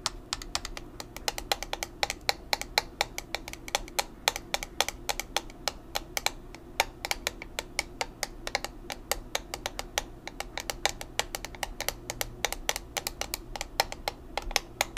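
A small square black plastic makeup compact with a clear lid is tapped quickly with long nails. The result is a steady stream of sharp, bright clicks with very short decay over a low hum, sounding much like fast typing.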